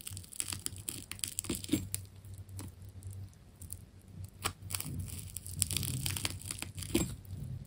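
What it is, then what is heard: Wound plastic tape ball being cut. A metal scalpel cuts through a hand-held ball of carved, solid wound plastic tape with striped layers. It makes a run of short, crisp crunching and crackling snaps with bright, sharp edges over a steady low hum. Each cut dies away almost instantly, and the louder crunches stand out near the start, middle and end.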